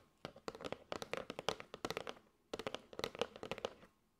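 A flat kraft cardboard box with a clear plastic window, holding striped paper straws, is held in both hands and tapped and scratched with long gray almond-shaped nails. Two bursts of quick, dry taps and scratches are heard, separated by a short pause. Each tap is short and dies away at once, with a hollow mid-range knock and bright clicky edges.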